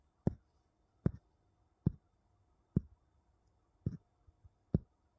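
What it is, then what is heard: Wooden bowls tapped together. Two wooden bowls are tapped against each other six times at a slow, even pace. Each tap is a dull, low knock that dies away almost at once, some with a faint rattle just after, against near silence.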